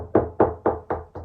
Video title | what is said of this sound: Soundproofing For Beginners - FULL COURSE TUTORIAL | as I move along it's solid that's a solid sound